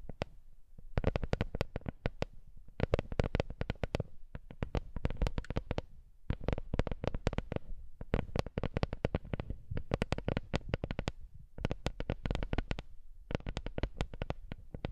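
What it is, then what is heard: Wooden lattice coaster. A small, flat, solid wooden lattice coaster of interwoven slats is held in the hands and tapped with long nails on its surface and edges. Rapid clusters of short, dry, dull taps come in bursts separated by brief pauses, with most of the energy low and each tap dying away almost instantly.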